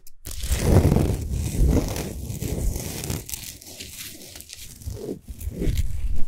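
Long fingernails on both hands scratch quickly over a large, solid Himalayan salt sphere lamp lit from inside. The result is a dense, gritty rasp that swells and fades in waves, quieting in the middle before building louder again at the end.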